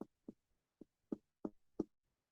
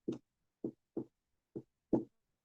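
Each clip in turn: First: normal resonant lung on chest percussion. Second: wooden desk struck with finger percussion.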